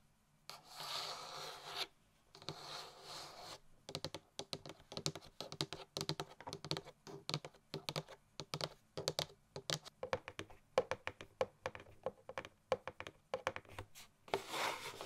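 Long nails on a printed cardboard Christmas gift box make two bursts of dry, hissy scratching, then quick, clicky taps along the top edge of the lid that sound like typing on a keyboard. The taps are short and snappy with almost no ring, and another brief scratch closes the clip.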